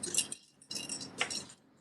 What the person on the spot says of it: I hear sounds like glass. There's something inside of her